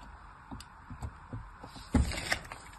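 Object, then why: Bar of soap. A solid orange soap bar held in the hand is scored in diagonal lines with a thin pointed blade in a scratching, carving action. Soft, low, muffled scraping strokes sound over a quiet background, with the strongest, fuller cut near the two-second mark followed by a brighter scratch.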